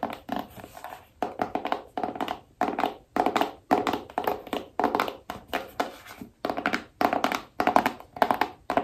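Long nails tap the lid and back of a small, hollow, black cardboard iPhone box with a phone print, held in both hands. Quick clusters of dry, hollow taps come in irregular bursts, with a papery mid-range knock around 720 Hz that dies away almost instantly.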